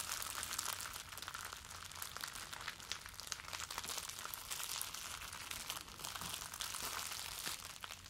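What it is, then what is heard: Plastic bubble wrap. A bundle of clear plastic bubble wrap, held in both hands, is crumpled and rubbed with the fingers. It makes a steady, quiet stream of bright crinkling and crackling with dense small snaps and very little low end.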